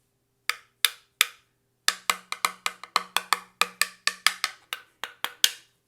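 A bare metal key machine guard with nothing applied to it is held against the key machine and tapped about 20 times in a ring test. Each tap is a short, bright click that dies away almost instantly. The part is damped and gives no ringing.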